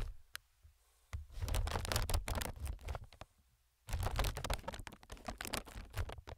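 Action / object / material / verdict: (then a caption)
tap / inflated plastic film air pillow / plastic film / none. A single fingertip taps on the film of a clear, inflated, multi-chamber plastic air packing pillow. After a couple of isolated taps, two quick, irregular bursts of soft, dry tapping produce muffled low thumps with faint bright crinkly edges, separated by a brief pause.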